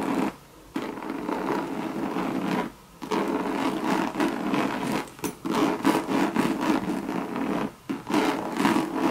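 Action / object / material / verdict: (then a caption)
scrape / coated canvas and leather handbag / coated canvas / none. Long red nails scratch the surface of a hollow Louis Vuitton Monogram coated canvas and leather bucket bag. The scratching is a steady, dense rasp with a midrange body, broken by three short pauses near the start, middle and end.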